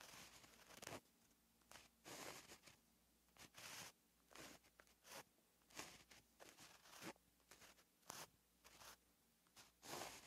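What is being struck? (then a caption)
Gel pen on lined paper notebook page. A white gel pen held in the fingers writes on a flat, lined paper notebook page, its tip scratching across the paper. Short bursts of bright, dry scratching come and go in uneven strokes with brief pauses between them, over a faint low hum.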